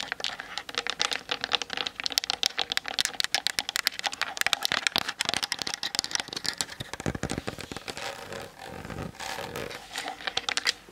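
Long nails tap rapidly on the hollow plastic body of a Canon DSLR on a tripod, striking the top plate and the lens barrel. The result is a dense run of sharp, dry, bright clicks with almost no low end and no ring. A softer, scratchier patch comes near the end before the quick tapping resumes.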